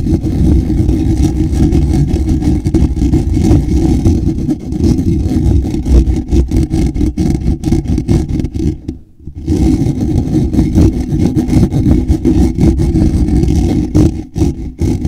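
Both hands scratch the fingertips and nails across a hollow black woven wire-mesh microphone grille. The result is a dense, continuous, low rumbling scratch, heavy in the bass with almost no high end, that briefly drops out around the nine-second mark before resuming.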